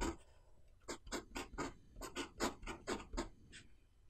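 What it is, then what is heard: Pen writing on a paper notebook page. A pen nib is drawn across the page of an open white paper notebook, writing lines of Chinese characters. About a dozen short, bright scratching and rubbing strokes are heard in a steady rhythm, with soft pauses between them.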